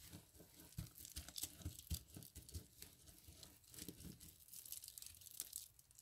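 Hands press, squeeze and rub a pile of dry soap flakes, crushing them. The result is quiet, irregular crisp crunching and crinkling, with bright, high crackles over soft, low muffled thumps.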